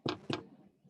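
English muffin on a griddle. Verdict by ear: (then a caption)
Dry. Two light taps on the surface of an English muffin cooking on a griddle give two short, dull thunks with a quick decay. The hollow thunk shows the muffin is nice and dry inside, meaning it is cooking through.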